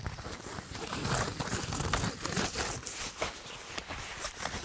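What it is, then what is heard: Nylon plate carrier fabric. Fingertips and nails scratch and tap the woven fabric panel of a black nylon plate carrier with MOLLE webbing, probably empty, held close to the microphone. A dense, scratchy rustle with bright crackling texture is heard, broken by soft, dull taps with a low thump underneath.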